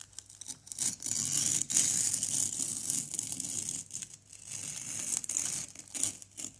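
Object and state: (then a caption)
Plaster block being scraped. A white plastic knife scrapes a small, solid orange plaster excavation block. The sound is a bright, gritty scratching that comes in uneven bursts with brief pauses between strokes. It is dry and close, with almost no low end.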